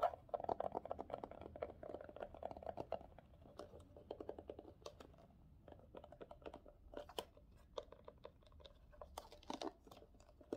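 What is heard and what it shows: A small, hollow, hard-shell glasses case covered in green faux leather with a metal hinge is tapped and scratched with fingertips and short nails. Rapid, dry, clicky taps with a hollow mid-range tone alternate with soft scratchy rustling. Near the end the case is opened with a brighter snap.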